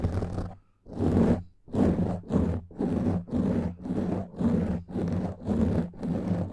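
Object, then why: Foam microphone windscreen. Long fingernails on both hands scratch over a black foam microphone windscreen, making loud, close rustling scrapes with a low, rumbling body. The bursts come in a loose, uneven rhythm of roughly one per second with brief quiet gaps between them.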